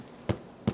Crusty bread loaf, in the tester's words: if you tap the bottom I'll try to put that near the mic it sounds Hollow